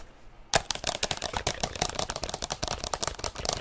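Long nails tap and scratch fast on the plastic shell of a black plastic inline skate boot with mesh and laces, held close to the microphone. After a half-second of near silence, a dense run of sharp, bright clicks and scrapes begins and continues without a break to the end.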